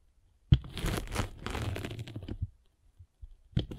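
A metal-spiked derma roller is rolled across a solid grey-and-blue abrasive foam sanding sponge block. A sharp contact opens about two seconds of dense, crunchy, crackling scraping that is mostly low and muffled. It trails into a few faint taps and ends with another sharp crunch as the roller is pressed again.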